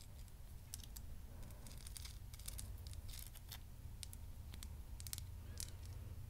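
Long nails tap and scratch the crystal surface of a solid amethyst geode with a pale rock base, which is brought very close at the end. Short, bright clicks and scratches sound over a steady low rumble.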